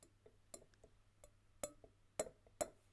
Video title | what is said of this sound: Building physics: Lecture 2, Basic Acoustics | It's gone. By touching it, it cannot vibrate freely anymore.